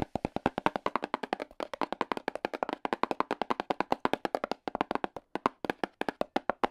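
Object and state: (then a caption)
Cardboard box tapped with small hard tips. AA battery tips worn on the fingers rapidly tap a small, hollow black and red cardboard product box. A steady run of 58 short, dry, hollow knocks sits mostly in the low-mid and mid range, each cut off almost instantly with no ring.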